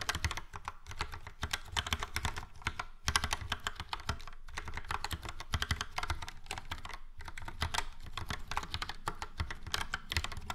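Fingertips of both hands type steadily on a Logitech POP Keys, a full-size plastic mechanical keyboard with a yellow frame and round dark grey and light grey typewriter-style keycaps. The result is a dense, continuous stream of short, sharp clacks, each with a low thump beneath a bright click that dies away almost instantly.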